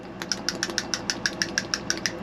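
A brass balancing spool valve from the fresh water system of a 1988 Bluebird Wanderlodge FC35 RV is shaken, and its internal slide spool rattles with 13 quick, sharp metallic clicks with bright tones around 1.6 kHz. The spool now moves freely after cleaning; it had been locked up tight with corrosion.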